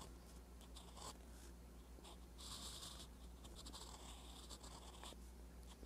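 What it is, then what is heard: Pen nib writing on notebook paper. A metal fountain pen nib scratches across a flat, lined paper notebook page while writing. Soft, continuous scratchy strokes with brighter bursts of high hiss rise and fall over a steady low hum.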